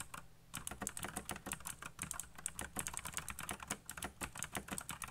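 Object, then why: Plastic mechanical keyboard. Fingertips type very fast on a backlit mechanical keyboard with black plastic keycaps. A rapid, steady stream of sharp, bright clacks rattles on for about five seconds over a faint low hum. Each keystroke dies away almost instantly.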